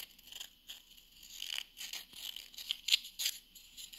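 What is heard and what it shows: Long nails scratch and tap the textured face of a small, flat, solid round wooden coaster held in the hand. The sound is a quiet, dry, bright scratching with irregular short taps and crackles, each dying away almost instantly, with almost nothing in the low end.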